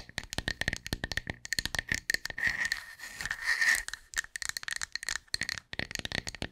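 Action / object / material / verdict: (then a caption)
tap / round wooden tree slice with bark edge / wood / none. A round, solid wood slice with a bark edge is tapped and scratched with long nails, producing quick, dry clicking taps with a bright ringing tone near 1.8 kHz. Midway the tapping gives way to a louder, continuous scratching rasp before rapid tapping resumes, and the slice is held close at the end.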